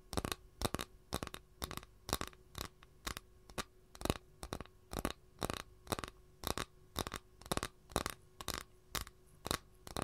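Long nails scratch the surface of an empty, flat capiz shell tray held in both hands. Short, dry, bright scratching bursts repeat about twice a second in an uneven rhythm. A faint steady hum sits underneath.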